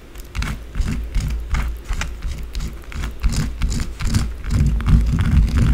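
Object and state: Bar of soap scratched with fingernails.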